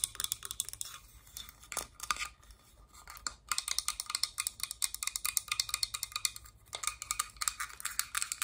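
A small, hollow, pink hard-plastic Littlest Pet Shop playset piece shaped like a folded box or roof is held in the hands and tapped and scratched with long dark acrylic nails. Quick, bright, dry clicks and taps come in dense bursts, broken by a brief quieter pause, with almost no low end and no ring after each hit.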